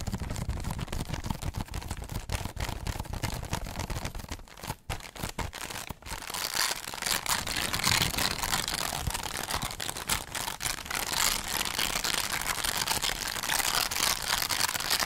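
Pink fingernails rapidly scratch the bottom of a holographic foil-covered cardboard heart box held close to the mic. Dense, crinkly scratching with some low thumps fills the first few seconds, dips briefly just before the 5-second mark, then returns as brighter, steady scraping to the end.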